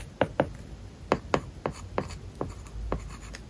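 A plastic stylus tip writes strokes on an iPad's glass screen covered with a matte, paper-like plastic film, the tablet lying flat. A series of short, dry taps and light scratches sound with no ring, spaced irregularly over a soft low hiss.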